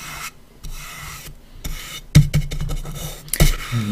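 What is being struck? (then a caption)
Small light wooden coffin-shaped box with grooved lid. A dry paintbrush is brushed back and forth across the grooved lid of a small, hollow, unfinished light-wood coffin-shaped box with its lid closed. The strokes make soft, bright rasping sweeps with a few sharper, louder scratches. A steady low hum sits underneath throughout.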